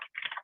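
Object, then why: Plastic container with a string of beads. A string of beads, cut from a bead necklace, is pulled in and out of a plastic Gerber cereal container in a homemade toy, with a little of the string hanging out the top. It makes a bright, dense rattle with almost no low end, broken by a brief silence before the rattling resumes and continues. It is a lovely sound.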